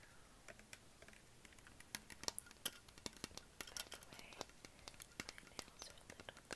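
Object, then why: Plastic (PET) water bottle. A hollow green Perrier PET plastic bottle, its fill level unclear, is held in the hand and tapped with fingertips and short nails all over the body and neck. The result is a quiet, rapid run of light, bright clicks and ticks with almost no ring, several sharper taps standing out.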